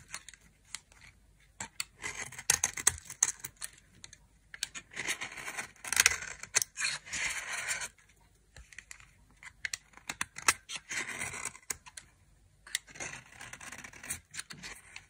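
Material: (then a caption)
Soap. A metal knife scrapes thin flakes from a dry white soap bar with a red edge, held in the fingers. The sound is a series of crisp, dry, bright scraping and shaving bursts centered around 2 kHz, with short pauses between strokes and very little low end.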